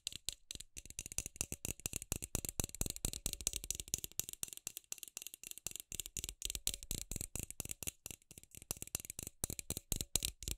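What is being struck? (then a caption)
Frosted plastic LED light bulb. Long acrylic nails tap rapidly on a palm-sized, hollow, milky white, round frosted plastic LED light bulb held in the hand. The result is a fast, unbroken stream of dry, bright clicks that rattle along with no ring between them.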